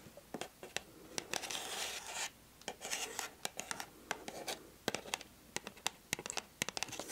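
Long acrylic nails scratch and rub the surface of a hollow pink printed cardboard gift box held close. Bright, dry scratching swishes alternate with many sharp, quick clicks and taps. There is almost no low end and no ring after each hit.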